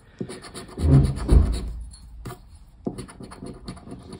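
A paper lottery scratch-off ticket of thin cardboard lies flat on a wooden table while its silver coating is scratched off with the edge of a black plastic disc. Dry, rasping scratch strokes repeat at an uneven pace, swell into a louder low rub in the first second and a half, then pause briefly before quieter scraping resumes.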